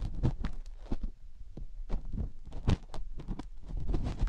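A fingertip and nail dig into and rub the ear canal of a single silicone ear on a binaural microphone. The result is a run of deep, muffled thumps and rumbling rubs with a low hum underneath, and brief bright scratchy streaks mixed in.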